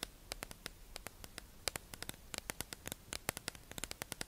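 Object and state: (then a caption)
Clear plastic package tapped with nails. A hollow, clear plastic tube-shaped package holding makeup sponges is held in the hands and tapped and scratched with long acrylic nails. About thirty sharp, bright clicks and taps come in an irregular quick rhythm, each dying away almost instantly, over a faint steady hiss.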